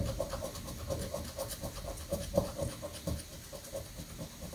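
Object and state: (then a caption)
Scratch-off lottery ticket being scratched. A coin edge scratches the coating of a thin, flat paper scratch-off lottery ticket resting on a granite countertop, in quick, short strokes. The result is a steady run of rough, scraping rasps with a faint recurring tonal scrape, over a low rumbling background.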